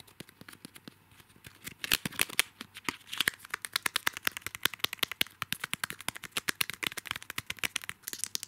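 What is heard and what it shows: Fingertips and nails scratch and rub the thin plastic wrap around a small washi paper tape roll on a card backing, held close. Dozens of quick, dry, bright crinkly scratches and taps follow in a rapid, uneven stream, with almost no low end. The sound starts soft and sparse, then grows denser and louder after the first couple of seconds.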